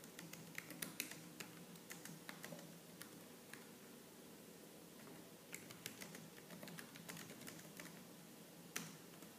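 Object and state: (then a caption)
Plastic laptop keyboard. Fast typing with both hands on a laptop keyboard with black plastic keys, struck with long lavender-painted nails and fingertips. Quick, bright clicks run in irregular bursts over a low steady hum, with a few sharper, louder taps standing out.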